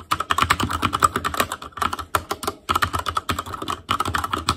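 Fingertips type rapidly on an Asus Claymore Core mechanical keyboard with plastic keycaps, producing a dense stream of sharp, clacky keystrokes. Short bursts are separated by brief pauses, and the clicks have a bright, plasticky ring.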